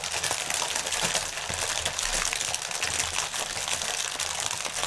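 Fingertips crinkle and press a clear, hollow, air-filled plastic air pillow packaging strip lying on a table, with both hands resting on it. The result is a dense, continuous run of bright, crackling plastic crinkles with quick snaps and almost no low end.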